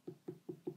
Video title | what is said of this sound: 104. How to Throw Wiggle Wire Texture Bowls & Vases | the deeper the sound the thinner it is right now it's a quite high-pitched sound so I assume that I still have some clay to go